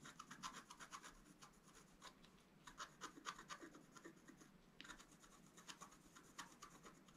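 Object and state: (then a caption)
Scratch-art card being scratched. A wooden stylus scratches away the black coating of a flat scratch-art card, black-coated board over a colored foil layer, held flat on a table, in fine strokes. It makes quiet, dry, raspy scratches in an uneven run of short strokes, with bright high hiss and no ringing after each stroke.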